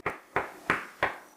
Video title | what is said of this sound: Remodeling Surprises: Learning From Our Mistakes in a Łódź tenement (Part 4) | in some places where that adhesive is, the wall doesn't sound hollow